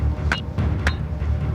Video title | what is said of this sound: Australias 1st 4 Billion Years | bang it together it sounds like metal and this stuff is heavy